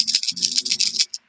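A finished plastic Lego Ninjago rattlesnake tail with small beads inside is shaken to demonstrate it. It gives a bright, high-pitched rattling patter of quick bead clicks for about a second, then one last short rattle before silence.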